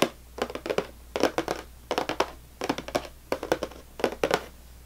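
Long nails on both hands quickly tap and scratch the top of a full, closed cardboard saltine cracker box. Short, dry, papery clicks come in rapid clusters, each with a hollow mid-range knock and a bright, crinkly edge. The taps die away at once over a quiet low hum.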